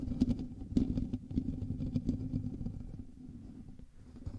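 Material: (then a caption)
Metal mesh. Fingertips and nails of both hands scratch the hollow metal mesh grille of a black USB microphone. The result is a dense, low, rustling scratch with a hollow resonance near 234 Hz and little high content, with sharper bursts early on before it settles into a quieter, steady scraping.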